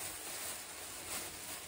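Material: Nothing is struck.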